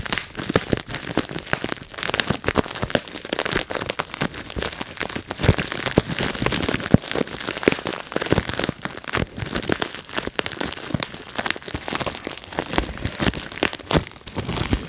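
A clear plastic bubble wrap sheet is gathered in both hands while fingers pinch and pop its bubbles, and the sheet crinkles throughout. The result is a dense, continuous stream of sharp, bright snapping pops over a rustling crinkle, each crack cutting off instantly with no ring. The crackling stays steady for the whole clip.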